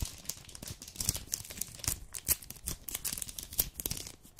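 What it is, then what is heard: Crinkled chocolate bar wrapper. Fingertips and long nails rub, crinkle and scratch a full, flat, rectangular red dark chocolate bar package in a plastic-paper wrapper. The result is a quiet, continuous stream of bright, papery crackles and dry scratches, broken by sharp crisp snaps that fade almost instantly.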